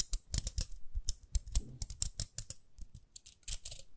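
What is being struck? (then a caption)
Small plastic round hairbrush. Long nails scratch and tap the rim and bristles of a small, round pink plastic hairbrush held in both hands. The result is a quick, irregular run of sharp, dry clicks with bright, crisp tops and soft low thumps underneath, each one dying away almost at once.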